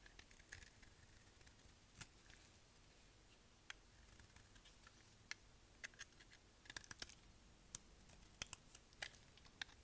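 A palm-sized, dark translucent bar of dry solid soap is held in the hand and shaved with a pink-handled utility knife blade, cutting off flakes, with other soap bars and shavings lying nearby. Quiet, dry, bright scraping hiss is broken by short, sharp crisp snaps that grow more frequent toward the end.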